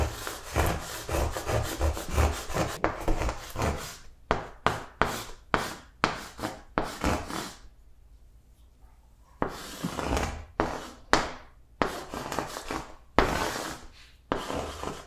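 Chalk writes and draws shapes on a large, flat green chalkboard, making rapid scratchy tapping strokes at first, then a series of longer scraping strokes broken by a short quiet pause. The strokes are dry and broadband with a brief, non-ringing scrape on each.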